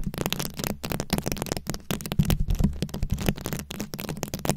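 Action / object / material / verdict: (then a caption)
scrape / microphone head covered in plastic rhinestones and beads / plastic / none. Very long acrylic nails scratch a round, fist-sized microphone head covered in plastic rhinestones and beads. The result is a steady run of dense, crackly clicks and rattling scrapes over a deep, bassy rumble, with quick taps that die away almost instantly.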